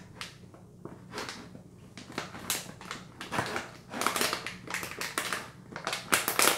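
The back of a filled Caltrate soft chews plastic pouch is tapped and scratched with long nails and fingertips. It makes a steady run of bright, crisp crinkles and clicks. The rustling builds to louder bursts toward the end.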